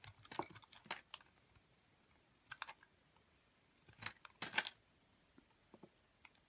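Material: Soap.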